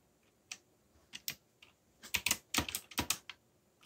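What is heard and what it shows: Fingertips type on a backlit mechanical keyboard with black plastic keycaps, pressing keys at an uneven pace. Each press is a short, bright, dry click with little low end, scattered at first and then bunching into a quicker burst of clacks.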